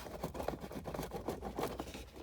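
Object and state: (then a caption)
Loose, unfastened plastic part inside an instrument cluster. A loose, unfastened plastic part inside the disassembled instrument cluster of a 2018 Lada Vesta Cross is moved by hand, and it wobbles freely and clatters. The result is a quiet series of dull, low-mid plastic clicks and rattles over a steady low hum. The part is not fastened at all, which is abnormal and a source of the dashboard squeak being fixed.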